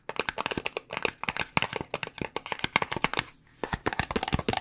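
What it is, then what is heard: Cardboard cosmetic box tapped with nails. Long nails tap rapidly on the sides and corners of a small, hollow white paperboard cosmetic box with contents inside. About 26 short, dry, crisp clicks come in quick bursts, with a brief pause near the middle. Each tap dies away almost instantly and has a bright papery edge.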